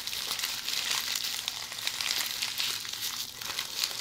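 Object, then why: Plastic bubble wrap. A roll of red plastic bubble wrap held in the hands is scratched and rubbed by long polished fingernails. The result is a steady, bright crinkling and scratching with quick little ticks and no low end.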